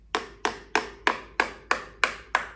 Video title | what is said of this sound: 1x Bikes Episode 80 | you can hear it. That's the metal there.